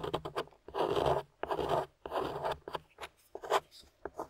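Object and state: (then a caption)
Clay-coated soap bar being scraped. A thin metal spatula scrapes and digs into the powdery beige clay crust on a small, solid, translucent amber glycerin soap bar held in the hand, and crumbs fall around it. Quick dry scratchy ticks give way to three longer, gritty rasping scrapes, then more short scratches and crunchy picks that stop abruptly.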